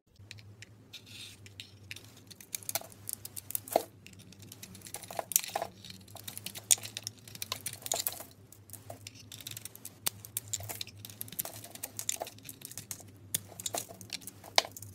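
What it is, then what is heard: Bar of soap being carved. A metal utility knife blade shaves and carves a palm-sized solid bar of soap with a red coated surface and white interior, held in hands with long red nails, cutting off flakes and chunks. Quiet, crisp scraping and crackling cuts come in rapid, irregular bursts with bright, dry edges and almost no ring, over a faint steady low hum.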